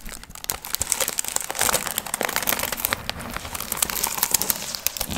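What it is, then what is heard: Foil fringe piñata. Long nails scratch and crinkle the shiny gold foil and tissue fringe covering a hollow, pumpkin-shaped piñata. The result is a steady, dense stream of bright, crisp crinkling and crackling with little low end.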